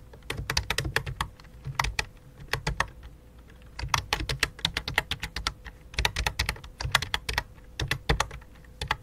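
Both hands type rapidly with their fingertips on a full-size white and light-blue plastic computer keyboard with a hollow plastic body. Bursts of sharp, bright key clicks with hollow low thumps come in quick runs separated by short pauses, and each click dies away almost instantly. A faint steady tone sits underneath throughout.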